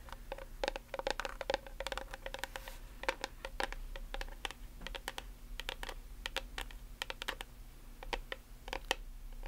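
Long nails tap quickly on a plastic nail polish remover bottle and its blue cap, producing a rapid, irregular stream of sharp, dry clicks with bright edges. Each tap dies away almost instantly, with a faint tonal ring in the midrange over a steady low hum.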